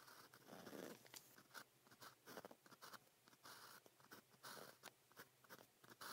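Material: Paper.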